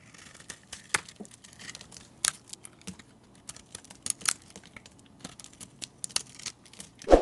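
A metal blade scrapes thin, flaky shavings off a solid, hand-sized oval soap bar that is now mostly orange, leaving stacked curls. Short, dry crackling scrapes and crisp flicks follow one another in quick, irregular bursts, with brief bright rasps. A louder, fuller scrape closes the clip.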